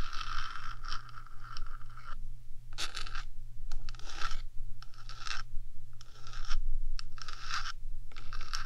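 Long dark nails scratch the top of the hollow, painted metal box of a 3Dio binaural microphone, first with one hand and then with both. Bursts of bright, raspy scraping come and go in uneven strokes over a steady low hum.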